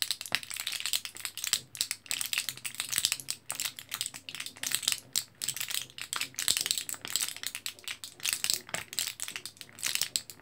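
Fingertips press and crinkle a small, flat, orange foil-backed plastic blister card full of L-carnitine capsules, held in both hands above bubble wrap. The result is a steady stream of bright, dry crackles and quick plastic clicks with almost no low end, each snap dying away instantly.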